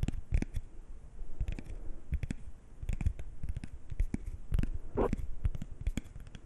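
A single thin, small, flat coated-paper playing card is held at chest height and scratched and flexed with fingernails and fingertips. Quiet, irregular clicks, taps and short scratchy scrapes sound with little ring, mostly dull and low, with a brief brighter crinkling rustle near the five-second mark.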